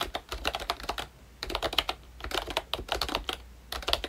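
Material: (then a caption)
Plastic. Fingertips type on a full-size ROYCHE Disney Mickey Mouse retro membrane keyboard with a hollow pink plastic case and round black plastic keycaps. About 21 short, bright plastic clacks come in quick bursts with two brief pauses, each dying away almost at once.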